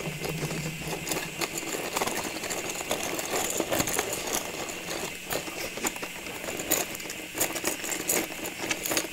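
A clear plastic cylinder filled with small ornaments, with a red paper label on the front, is gripped, tapped and scratched with long nails on its sides and top. Quick, bright plastic clicks and taps sound over a steady, hissy scratching with a faint rattle. The sound stays crisp and high, with almost no low end.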